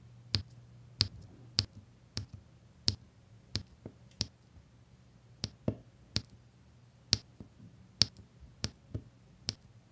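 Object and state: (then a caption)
Resin drills pressed onto diamond painting canvas. A plastic drill pen presses small solid faceted resin diamond painting drills onto the sticky surface of a flat diamond painting canvas with a printed symbol grid. It makes 13 short, bright, tapping clicks at uneven intervals, each dying away almost instantly. A faint steady low hum runs underneath.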